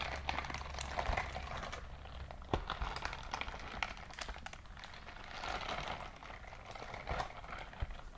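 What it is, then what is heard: Silicone scrubbing glove. A white silicone dishwashing glove is shown close up with its fingers flexing so the bristles rub together. The result is a steady, crackly rubbing with dense small ticks and brief sharper clicks over a low rumble.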